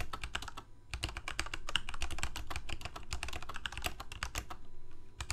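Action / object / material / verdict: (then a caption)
tap / plastic mechanical keyboard / plastic / none. Fingertips of both hands type rapidly on a full-size black plastic Corsair mechanical keyboard with lit keycaps. A dense, uneven stream of short, sharp clacks with a bright click on top and a low thock underneath keeps going, with only a short pause just before the end.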